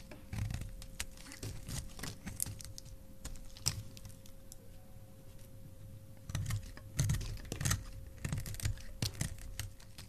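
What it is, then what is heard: Glycerin soap bar being carved. A utility knife blade carves thin slices from a solid, palm-sized translucent red glycerin soap bar. Quick, crisp scraping clicks come in irregular bursts over a soft low thud, with a faint steady hum underneath. The bursts grow denser toward the end.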